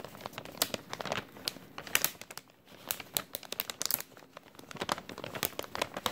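An empty, thin clear plastic bag with a white label, held in front of a shirt, is crumpled and crinkled with the fingertips of both hands. Dense, bright crackles and sharp snaps come in irregular bursts, with brief quieter lulls near 2.5 and 4.2 seconds.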